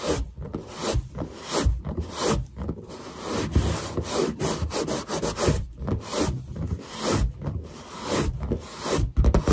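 Long black nails scratch and tap on a large, hollow, inflated white latex balloon held close by. The result is a run of dull, low-heavy rubbing and scraping strokes that swell and fade in uneven bursts, with soft thumps between them.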